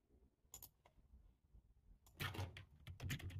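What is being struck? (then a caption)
Plastic computer keyboard. Fingertips with short nails type rapidly with both hands on a black, low-profile plastic computer keyboard with a hollow body, resting on a table. A few scattered key taps give way to a denser, louder run of short, bright clicks with a hollow low thump beneath them.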